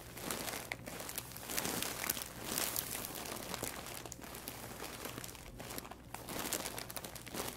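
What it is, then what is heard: Plastic mailer bag being crinkled. Fingertips press, rub and scratch a large white plastic poly mailer bag, full and stuffed with packaged items, resting on a wooden table. The plastic gives a dense, continuous, bright crinkling and crackling that swells and fades over the clip, over a faint steady low hum.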